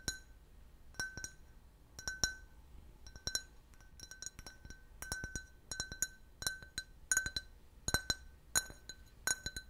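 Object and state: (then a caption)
Empty glass tumbler tapped with fingernails. A clear, hollow, empty can-shaped glass beer glass, held in the hand, is tapped with fingernails in quick clusters of clicks. Each tap gives a short, bright clink with a ringing glass tone near 1.5 kHz and high shimmering overtones that fade quickly.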